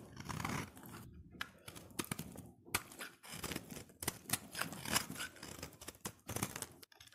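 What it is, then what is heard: Soap bar shaved with a blade. A solid cream-white oval soap bar, held in the hand, is shaved into flakes with a utility knife blade. A quiet, uneven run of dry, crisp scraping and crunching strokes follows, with short pauses between bursts. The bright, papery texture sounds close to tearing or crinkling.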